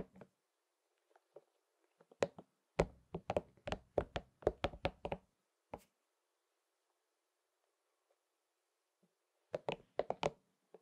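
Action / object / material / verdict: tap / soft rubber spiky massage ball / rubber / none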